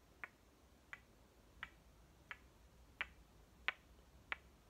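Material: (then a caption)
Wood. Two solid halves of a small striped toy watermelon, likely painted wood, are knocked together and pressed shut by hand. Seven sharp, dry clicks land at a steady pace, each bright and centered around 2 kHz with almost no ring, over a quiet background.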